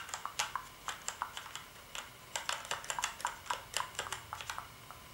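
Fingertips type on the keys of a black plastic gaming keyboard, giving about 22 quick, separate clicks with bright, crisp tops and little low end. Each keystroke snaps with a short click centred near 1 kHz and dies away almost at once, in an irregular typing rhythm over quiet background hiss.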